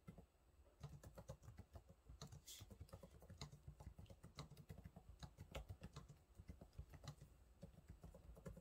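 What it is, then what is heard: Plastic laptop keyboard being typed on. Fingertips type on the low-profile plastic keys of a silver laptop, producing a steady stream of rapid, soft taps. Each tap is a short, dull click with a low thump that dies away almost at once, with an occasional brighter clack standing out from the quiet, even patter.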